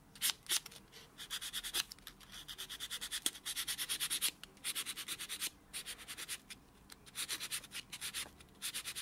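A small white rectangular foam-core nail buffer block, held in the fingertips, is rubbed back and forth over the short natural fingernails of the other hand, which rests flat on a dark textured surface. The strokes make a rapid series of soft, bright, scratchy rubbing bursts, mostly high in pitch with almost no low end. They come in quick rhythmic runs with a few brief pauses between.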